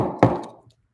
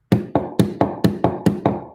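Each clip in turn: First: A single crisp knock with a low body that dies quickly: a hard urethane skateboard wheel. Second: Eight quick, dull knocks with a low-mid thud near 200 Hz mark a softer urethane skateboard wheel.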